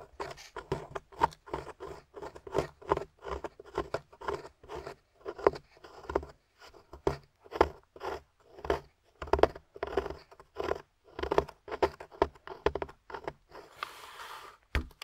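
A metal pick scrapes and digs into a solid beige plaster dig block held at table level in a long-nailed hand, loosening crumbly chunks. Dozens of short, dry, gritty scrapes repeat in a steady rhythm with a mid-range body and little ring, ending in a brief breathy hiss.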